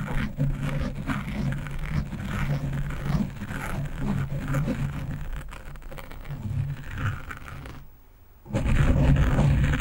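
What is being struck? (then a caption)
Foam microphone windscreen. Long nails and fingertips scratch fast across a black foam windscreen on a microphone, making dense, low rumbling scrapes with brighter crackle. The scratching runs steadily, drops almost to silence for about half a second near the end, then resumes louder.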